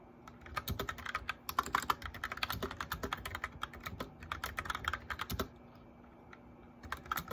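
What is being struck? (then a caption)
Plastic mechanical keyboard. Fingertips and nails of both hands type on a white plastic mechanical keyboard with backlit keycaps, producing a rapid run of sharp, bright clicks and clacks. Typing runs steadily for about five and a half seconds, pauses with only a faint steady hum beneath, then resumes with a few keystrokes at the end.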